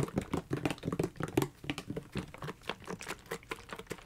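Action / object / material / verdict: tap / hard-plastic gel ice pack / plastic / none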